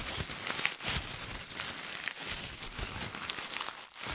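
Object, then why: Crumpled paper ball. A hollow, crumpled white paper ball is pressed and crinkled with the fingers, both close to the mic and in front of the face. The result is a steady, bright, crackling rustle with short sharp crunches and barely any low end.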